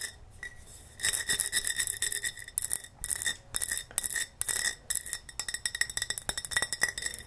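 Fingernails tap and scratch on a large wide-mouth Ball glass mason jar that holds cotton balls. After a quiet first second, bursts of bright, high glassy clinks and scratchy rubbing come in quick runs, turning into fast, sharp taps near the end.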